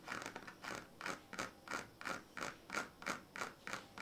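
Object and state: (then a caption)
Woven plastic-strip sleeping mat. A hand scratches a pink plastic comb back and forth along the ribbed strips of a woven plastic-strip sleeping mat, which lies partly rolled up on a blue bedsheet. Each stroke is a raspy, ratcheting scrape with a bright, squeaky tone near 1.4 kHz, and the strokes repeat steadily at about three per second.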